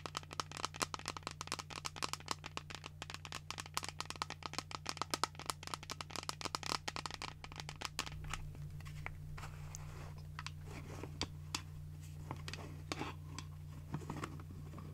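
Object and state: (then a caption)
Plastic shaker bottle tapped. Long nails and fingertips tap along the sides of an empty, hollow pink translucent plastic shaker cup with a flip lid. Rapid, bright, clicky taps come thick and fast for about eight seconds, then thin out to sparser, crisp taps over a steady low hum.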